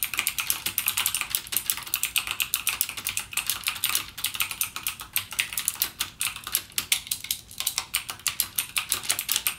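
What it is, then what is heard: Plastic mechanical keyboard with clicky switches. Fingertips type steadily on a backlit mechanical gaming keyboard with plastic keycaps and clicky Cherry MX Blue switches. The result is a dense, continuous stream of sharp, bright clicks that die away almost instantly, with almost no low end.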